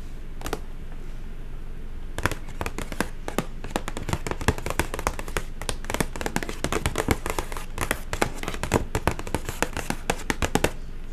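Long acrylic nails tap and scratch a hollow white printed paper shopping bag with fabric handles and a Royal Chocolate logo. After a single tap and a quiet pause, dense bursts of crisp, papery clicks and scratches follow over a low hum.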